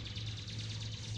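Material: Nothing is struck.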